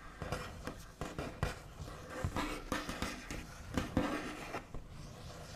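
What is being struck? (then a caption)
Wooden tabletop. The backs of long fingernails tap and trace across a flat, solid, white-finished wooden tabletop. About eleven dull, scratchy knocks stand out over a soft, continuous scraping, each with a low thump and a brief, quickly fading ring.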